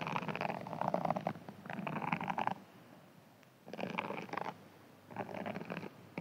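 A hand-sized green foam sponge, held in one hand, is scratched with fingernails and possibly a thin pin. Four bursts of dry, crackly scratching with a midrange rasp are separated by quiet pauses of faint hiss.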